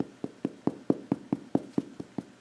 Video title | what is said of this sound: SREL Ecotalk | I can tap on it you can hear it's tough so those little bony plates are good protection for this alligator